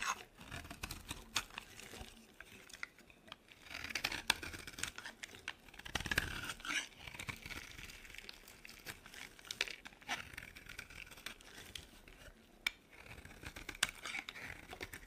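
A utility knife blade carves flakes from a dry, solid pink soap bar, cutting and scraping its surface. The result is a crisp, bright, crunchy scraping with many short crackling ticks, quiet overall with louder bursts of shaving around the fourth and sixth seconds.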